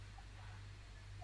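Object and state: Nothing is struck.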